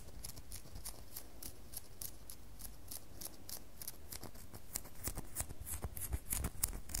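A solid red bar of soap, held up in a hand, is scratched with long fingernails. The result is a rapid series of short, dry, bright scratching strokes over a low background rumble, growing louder and crisper in the last couple of seconds.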